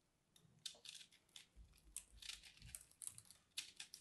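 A small dark carving blade scrapes and cuts flakes from a hand-sized, porous, crumbly purple soap ball held in the fingers. Repeated bright, dry crinkling scrapes and crumbly cuts come in irregular bursts, each ending quickly, with occasional soft low thumps underneath.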